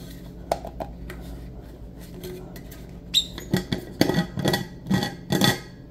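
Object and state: Stainless steel travel mug.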